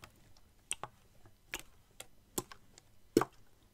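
Fingertips tap and squeeze a clear, partly filled plastic water bottle held close to the mic. About nine short, dry, bright ticks and crinkles come at uneven intervals, each dying away almost at once, with quiet gaps between. The final tap near the end is the loudest and has a fuller, lower body.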